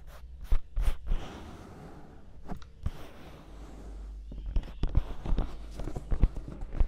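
Fingertips and long nails scratch and rub the white silicone ears of a 3Dio binaural microphone, one hand on each side. Close, muffled rubbing and scraping with a deep, low rumble is broken by sharp crackling bursts that grow busier toward the end.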